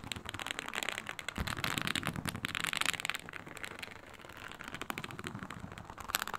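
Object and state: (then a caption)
Faux snakeskin leather mat scratched with nails. Long pointed nails scratch across a flat, iridescent, embossed reptile-pattern faux snakeskin synthetic leather mat, making dense, rapid, bright crackling scrapes. The scratching runs almost continuously, louder and more vigorous in the first half, easing around the fourth second, then picking up again with sharper strokes near the end.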